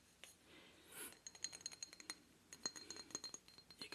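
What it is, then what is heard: Obsidian statue. Light fingertip taps on an obsidian statue with small gold flecks give quick, glassy clinks, about twenty in a fast, uneven run. Each tap is bright and high, with almost no low end, and dies away almost instantly against a quiet background.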